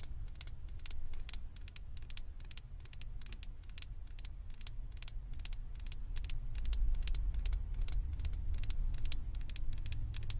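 A small hollow blue plastic Stitch figure head fitted on a microphone is tapped and scratched with long acrylic nails. Rapid, uneven bright clicks and scratchy ticks patter over a steady low rumble that swells slightly louder in the second half.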